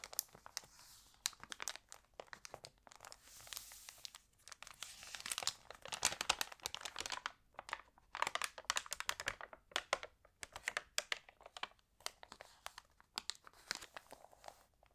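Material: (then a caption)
Glossy paper. Fingertips with long nails rub the thin glossy pages of an open lifestyle magazine flat and turn them, producing dense bursts of bright, crisp crinkling with almost no low end. Short sharp crackles come in clusters with brief quiet gaps between page movements.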